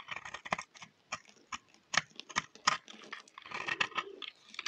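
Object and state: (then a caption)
Dry soap bar scraped with a blade. A utility knife blade scrapes a solid, dry yellow bar of soap with brown patches, held in the hand. About twenty short, dry, crunchy scrapes come in an uneven rapid series, bright and crackly with almost no low end. Each scrape stops sharply, shaving the bar.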